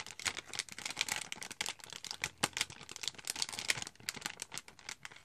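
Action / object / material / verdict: tap / foil-plastic powder packet / foil plastic / none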